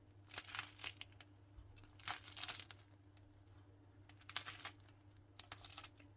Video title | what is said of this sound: BU EKMEK BIR HARIKA OLUYOR ~ EKMEK TARİFİ -EVDE KOLAY EKMEK NASIL YAPILIR #ekmeknasılyapılır #ekmek | yumuşacık çıtır çıtır bir ekmek yaptık